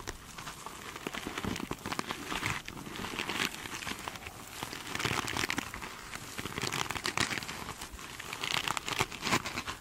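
Long pointed nails scratch and tap across the glitter mesh covering of a foam sponge. The result is a dense, bright crinkling and crackling texture, with rapid scratchy bursts that swell and fade in waves throughout.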